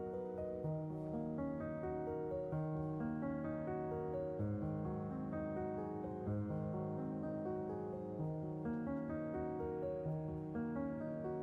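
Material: Nothing is struck.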